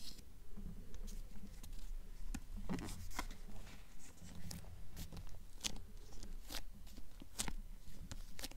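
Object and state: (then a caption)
Paperback book with glossy cover, tapped and scratched with nails. A paperback copy of The Golden Compass with a glossy paper cover, solid paper throughout, is held upright in both hands and turned slightly while long acrylic nails tap and scratch the cover. The result is a quick, irregular run of soft, dry clicks and brief scratchy strokes with almost no ring, over a low, muffled background.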